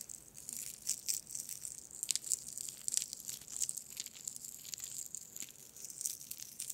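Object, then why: Glass marbles in a mesh bag. A small mesh net bag holding dozens of solid glass marbles is held above the microphone and swung and shaken by hand so the marbles knock together. The result is a quiet, continuous stream of bright, sharp clicks and clacks with almost no low end and no ring, rising and falling in small bursts as the bag moves.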